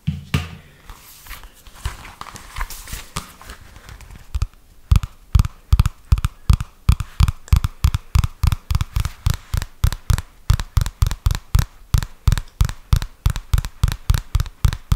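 A thin, flat purple softcover notebook with a paper or thin card cover is held upright close to the microphone and scratched and tapped with the fingertips. The first few seconds carry a soft, irregular scratching and rustling. This gives way to a steady run of dull, low, muffled thumps that die away almost instantly.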